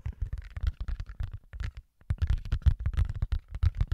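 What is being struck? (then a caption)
Flexible rubber mouse pad. Fingertips scratch and tap a large, flexible black rubber mouse pad printed with keyboard shortcuts, held in both hands in front of a microphone. Rapid, dull low thumps mix with scratchy rustling bursts that die away almost instantly. A short silence falls just before the two-second mark, then the tapping resumes.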